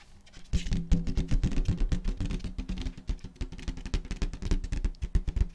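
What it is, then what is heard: Metallic latex balloon. Long nails tap and scratch the surface of a large, hollow, air-filled rose-gold metallic latex balloon held in the hands. After a quiet half-second, a rapid, uneven run of short, dull, boomy taps sets in, resonating low around 170 Hz with only faint scratchy hiss above. Each tap dies away quickly.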